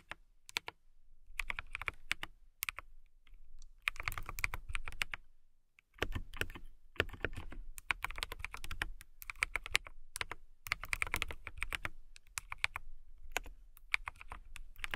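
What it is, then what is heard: Acrylic mechanical keyboard being typed on. Fingertips and long nails type on a transparent acrylic mechanical keyboard with clear keycaps. Quick, clicky keystrokes come in bursts with brief pauses, each a short, sharp tap with a bright ring near 2.3 kHz and a soft low thump beneath. Every keystroke dies away almost instantly.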